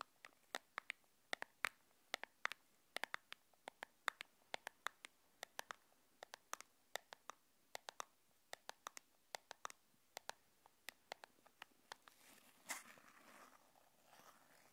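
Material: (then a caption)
Cardboard. Long painted nails tap and scratch a small, hollow, red and white printed cardboard earphone box held in both hands, making dozens of sharp, bright clicks with almost no low end. Near the end, the taps give way to a louder, rough scratching rustle that fades out.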